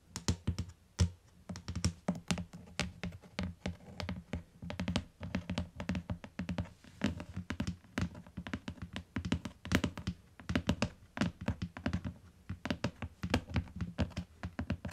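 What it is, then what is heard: Hardcover book tapped with fingertips and nails. Fingertips and long nails tap rapidly and steadily on the beige cardboard cover of a closed, solid, medium-sized hardcover book lying on a fluffy faux-fur rug. Each tap gives a dull, low thunk with a sharp, bright click on top that dies away almost instantly, in irregular clusters with a few louder strikes.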